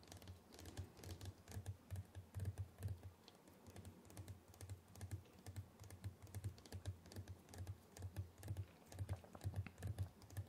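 Fingertips from both hands tap quickly across the lid of a large, flat, white printed cardboard retail box for a 14-inch MacBook Pro, closed with the laptop inside and lying on a dark surface. The motion is like typing. The result is a fast, uneven patter of soft, dull taps that die away almost at once, over a steady low hum.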